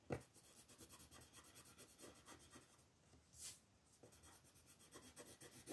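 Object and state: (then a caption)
Colored pencil shading on a paper page. A wooden colored pencil scratches and rubs over a flat paper coloring book page while shading a lamb, with the page held by a hand with long nails. Quiet, rhythmic, dry scratching strokes repeat throughout, with a brief brighter hiss partway through.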